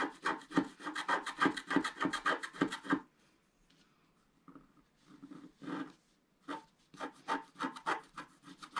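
A wooden stylus stick scratches a flat, black-coated scratch art paper sheet resting on a table, producing a fast, rhythmic series of dry, rasping strokes. The scratching is steady for about three seconds, drops to near silence with a few faint, softer scrapes, then returns in another run of quick, bright strokes.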